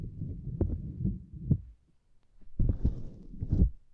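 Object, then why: Small silicone lattice mat. Long nails tap on a small, flat purple silicone lattice mat, then both hands scratch across the grid. The sound is a dull, low, muffled patter of soft thuds and rubbing, broken by a brief quiet gap in the middle, with a few brighter scratchy strokes in the second half.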